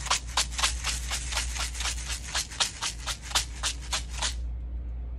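Tube number four, which holds rice, is shaken back and forth, giving a run of about 13 quick, bright rattling bursts over a steady low hum. The shaking stops just past four seconds and only the hum remains.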